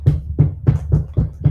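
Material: Wood.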